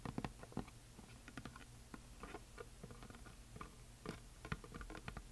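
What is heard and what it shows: Long nails tap and scratch near the top edge of a flat, solid, heart-shaped wooden plaque, a painted wooden heart sign with glitter. The quiet, irregular taps are short and dry, each with a low, woody thud and a brief bright click, mixed with soft scratching between them.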